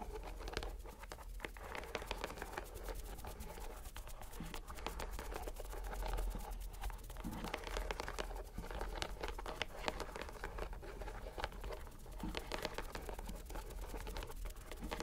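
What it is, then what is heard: Rubber mesh stress ball being squeezed. A fist-sized, soft purple rubber squishy stress ball in a white string net is squeezed over and over by fingers and palm. It makes a steady stream of crinkly, crackling squishes and small sticky clicks over a low, dull rumble, with no pauses throughout.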